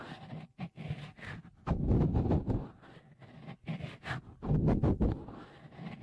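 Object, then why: Silicone microphone cover. Fingertips rub and squeeze a small, hollow, white dimpled cover, likely silicone, fitted over the left microphone capsule of a Tascam recorder. The result is close, muffled rubbing and squishing, heavy in the low end with little brightness. It comes in uneven bursts, with two louder stretches of dense scraping.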